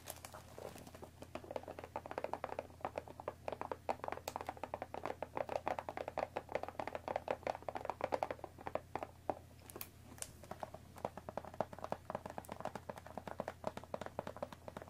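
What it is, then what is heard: Cellophane-wrapped cardboard tea box. Long nails tap quickly on top of a hollow cardboard Earl Grey tea box wrapped in cellophane and resting on a wooden table, then hands grip its sides. The sound is a dense, rapid stream of short, dry, crinkly taps centred in the midrange, with a faint steady low hum underneath.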